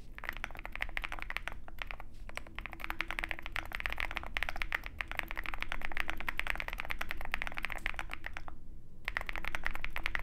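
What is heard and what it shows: Both hands type continuously with their fingertips on a compact 65% Zoom65 mechanical keyboard with white plastic keycaps and a dark metal case, resting on a desk mat. Rapid, uneven streams of short, dry clacks with a sharp midrange snap carry on steadily, with a brief pause near the end before typing resumes.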